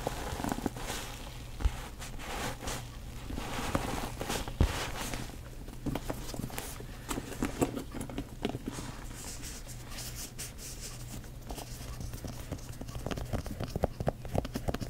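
Long acrylic nails tap across the front of a medium black quilted, chevron-stitched leather crossbody bag held upright. Its hollow body gives back a steady run of soft, dull, low taps with light clicking edges and a few sharper knocks.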